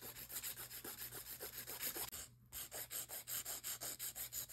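A gloved hand files over the whole surface of long acrylic nail extensions with a grey 80/80 emery file, making a steady run of about nineteen rhythmic, bright rasping strokes. The strokes pause briefly midway, then the filing continues.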